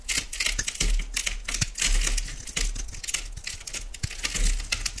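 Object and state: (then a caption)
Bar soap being cut. A solid yellow oval bar of soap, held in the hand, is cut into cubes and flakes with a metal knife. Quick, crisp scraping and cutting crackles come in dense bursts with a bright, hissy edge over a low rumble. Brief dull knocks sit underneath.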